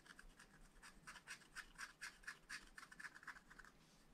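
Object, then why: Coated scratch-art paper sheet scraped with a wooden stylus. A wooden stylus scratches and rubs the black coating on a scratch-art paper page in a spiral pad. Quiet, uneven strokes about twice a second each give a short, bright, dry scrape with a slight squeaky tone near 1.6 kHz over a faint hiss.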